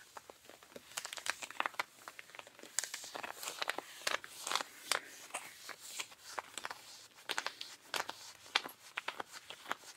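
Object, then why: Cotton denim jeans. Pink rubber-gloved fingers scratch along the thigh and hip of worn, ripped blue cotton denim jeans, with the hands partly near the leather belt. The result is a steady run of quick, dry, bright scratching and rasping strokes, with sharper crisp scrapes standing out from a soft fabric hiss.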